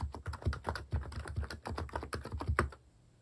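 Fingertips type steadily on a mechanical keyboard with plastic keycaps, making a rapid run of deep, muted clacks. The keystrokes come thick and fast for about two and three-quarter seconds, then stop, leaving near silence.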